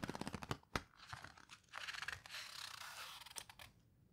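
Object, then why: Hardcover book with thick paper pages. Long red-painted nails and fingertips squeeze, rub and turn the thick, coarse paper pages of a large open hardcover book of houseboat photos. A quick run of soft crinkly taps and scratches gives way to longer, bright papery rustling and swishes as the pages are worked and turned, before fading into quiet.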